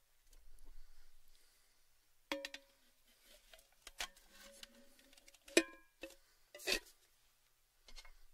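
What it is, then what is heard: Thin metal tin. A tall, orange, cylindrical metal Baileys tin, open and empty, is handled and tapped on its rim with fingertips. The taps come in scattered, irregular bursts between soft rustles and quiet gaps, each giving a short metallic ping with a low hollow tone and bright, brief ringing overtones.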